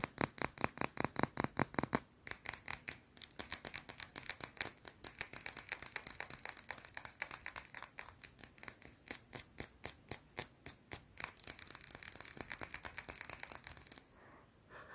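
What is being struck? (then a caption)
Solid bar of soap. Long blue nails rapidly scratch a small, round, solid white soap bar held up close, producing about 67 quick, dry, bright strokes with almost no low end. The fast rhythm pauses briefly near the 2-second mark, then continues steadily before fading to quiet just after 14 seconds.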